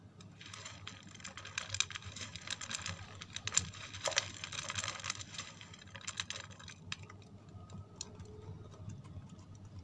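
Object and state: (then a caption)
Bar of soap. Long red nails rapidly tap and scratch a small solid white bar of soap held in the hands. The result is a dense stream of bright, dry clicks and scrapes that softens after the first few seconds, over a faint low hum.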